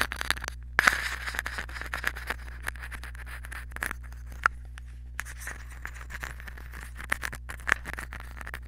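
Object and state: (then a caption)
Aluminium foil ball. A small crumpled aluminium foil ball, likely wrapped over the head of a mini microphone, is held in the fingers and scratched and written on with a pen tip. The result is dense, close-up crackling crinkles and scratchy scrapes with many sharp, quickly decaying ticks and a few louder snaps, over a steady low hum.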